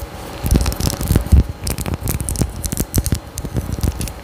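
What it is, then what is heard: Glass perfume bottle. Long nails scratch a small faceted glass perfume bottle with a gold cap and pink tassel, held close to the mic. It makes an uneven run of dry, crackly scrapes and short clicks with soft, low-heavy thumps. Each sound dies away almost at once, over a faint steady hiss.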